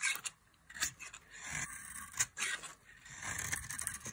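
A metal utility knife blade shaves a solid oval bar of dry mint-green soap held in the hand, producing a series of crisp, bright scraping and cutting strokes. Each short, dry rasp ends quickly, with quieter shaving between strokes and almost no low-end.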